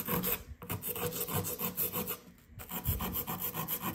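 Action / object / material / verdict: scrape / compressed sand dig block / compressed sand / none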